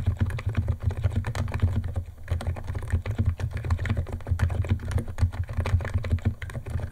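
Fingertips of both hands type fast on a white compact 68-key Niz ATOM 68 keyboard with electro-capacitive switches, white plastic keycaps and a plastic case, resting on a wooden desk. A rapid, steady stream of short, dull plastic key clacks plays over a constant low hum, with a brief lull near the two-second mark.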